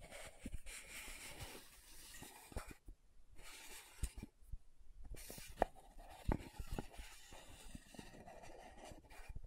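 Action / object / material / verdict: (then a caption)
scrape / plastic powder jar / plastic / none. Long nails scratch and tap the dark purple lid and clear pinkish body of a small round plastic loose powder jar. A soft, steady scratching rasp is broken by about six sharp, dry taps that stop at once with no ring.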